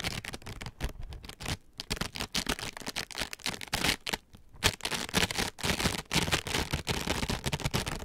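Two identical palm-sized, soft green foam sponge scourers, each wrapped in white plastic mesh, are held upright in both hands and rubbed against each other with the fingertips and palms, mesh on mesh. The soft, porous, compressible scourers give a dense run of bright, scratchy crackles and rasping rubs with brief pauses, swelling and fading irregularly.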